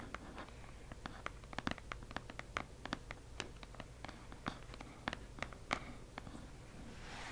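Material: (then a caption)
Cardboard. Fingertips tap on a delivered cardboard subscription box in a quiet setting, making a long run of light, dry taps that die away almost at once over a low background hum. The taps come irregularly, with several louder, brighter ones, and a soft hiss rises near the end.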